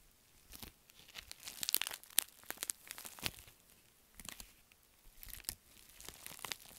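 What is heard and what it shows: A pink metallic foil bubble mailer is held in both hands while fingertips and nails crumple and scratch its crinkly film. Bursts of sharp, bright crinkling and crunching come in clusters separated by brief quiet pauses, with almost no low end.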